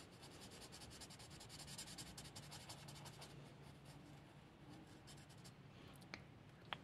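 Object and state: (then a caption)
Marker felt tip rubbing on a paper coloring page. A hand-held marker's chisel felt tip rubs and strokes across a thin paper coloring book page, filling in a cat shape. Quiet, dry, scratchy strokes come in quick, uneven succession, denser and brighter for the first few seconds, then softer. Two short, sharp ticks stand out near the end.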